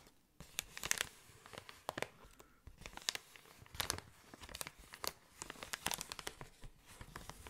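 An inflated clear plastic air column cushion, held close to the ear, is scratched with fingernails and rubbed with fingers. The result is a run of bright, crisp crinkling and tearing-like scratches with sharp peaks over a soft, steady rustle.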